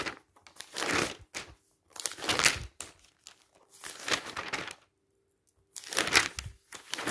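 Bare fingertips quickly flip and brush the pages of a thick glossy paper magazine lying open on a stack of magazines. Bursts of bright, crisp paper rustle and flutter come in waves, separated by short quiet gaps.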